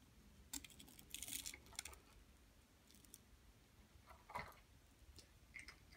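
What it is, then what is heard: Plaster dig block being scraped. A flat blade scrapes the top of a large, solid yellow plaster gold-bar dig block held in a hand with long nails, shedding yellow powder. The scraping comes as soft, dry, bright bursts of crackly grit over a quiet background. Sharp ticks are scattered between them, the loudest near the start and middle of the clip.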